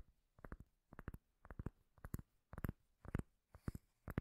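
A round, solid, palm-sized cork lid held close to the mic is tapped and scratched with long nails. The sound comes in eight short clusters of quick taps about twice a second. The sound is deep, muffled and bassy, with a dry thud that dies away instantly and no ring.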